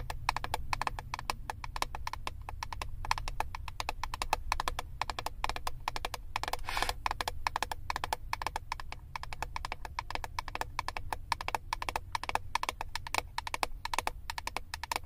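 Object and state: Plastic eyeshadow palette lid.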